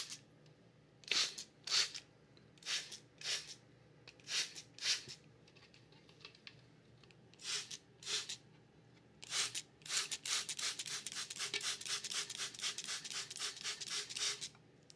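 Fingertips tap and rub along the textured, ridged side of a large, hollow, clear plastic pitcher or jar that is mostly empty or holds a little water. Bright, airy scratching bursts come in spaced pairs at first, then turn into a rapid, continuous run of short strokes over the last few seconds.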